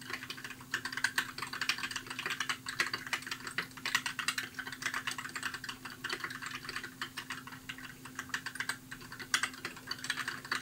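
Fingertips type steadily on a compact white mechanical keyboard with plastic keycaps, producing a fast, irregular run of crisp, bright clicks and clacks that stop short with almost no ring. A faint steady low hum sits underneath the typing throughout.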